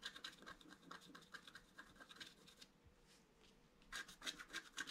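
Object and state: Scratch art paper card being scratched.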